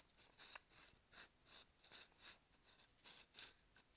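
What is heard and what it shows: A hand-sized, hollow, dark plastic supplement bottle with a screw cap and paper label, likely holding capsules, is held upright between both hands and rubbed and scratched with fingertips and nails along the label and sides. About ten quiet, bright, scratchy strokes come in an uneven rhythm, each a short hissy burst concentrated high with almost no low end and little ring after.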